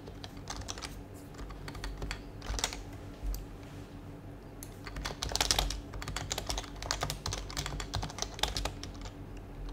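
Both hands type with fingertips on a white HHKB Professional Hybrid keyboard with plastic keycaps and a hollow plastic case, resting on a desk; the mouse is not touched. Quick, bright, clacky keystrokes come in uneven bursts, louder around the middle and toward the end, over a steady low hum.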